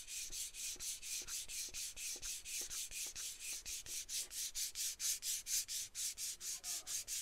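A small, hollow aluminum aerosol can with a dark cap is held in one hand and tapped and scratched along its body with long acrylic nails. About thirty quick, bright, hissy scratching strokes repeat at a steady pace of roughly two per second, with faint light taps underneath.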